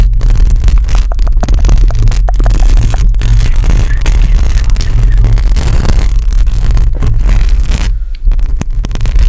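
Long acrylic nails on both hands scratch rapidly across a hollow metal mesh microphone grille. The result is a dense, continuous scraping with a heavy, boomy low rumble that dominates the sound, layered under fine crackling ticks. The sound briefly thins out near the end before resuming.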